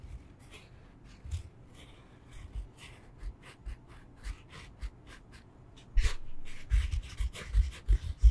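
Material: Foam.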